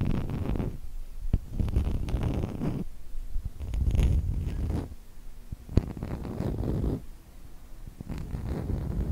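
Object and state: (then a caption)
Light wooden block, tapped and scratched. Long fingernails tap and scratch the surface of a small, solid, rectangular block of light unfinished wood held in one hand. Soft, low, rumbling bursts of scratching come and go, with a few sharp, quick taps in between. The sound is close and muffled, with little high content.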